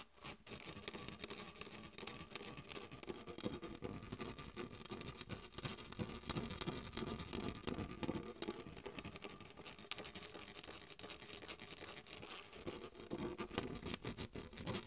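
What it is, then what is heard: Plastic soda bottle. A full PET plastic Mountain Dew bottle of green soda with a plastic cap is scratched and tapped with long white nails. The result is a steady stream of dry, irregular scratching and light tapping with a bright, crisp edge and soft low thuds underneath.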